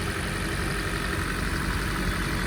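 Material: Nothing is struck.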